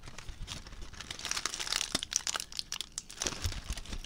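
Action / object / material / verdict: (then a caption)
scrape / crumpled aluminium foil ball / aluminium foil / none. A crumpled aluminium foil ball is squeezed and crinkled with the fingers. It makes dense, bright crackling with sharp, quick snaps throughout, mostly high-pitched and with little low end. Each crackle cuts off almost instantly.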